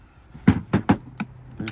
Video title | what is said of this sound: Spectra filters 2 | it is still rattling okay there's no question that that is loose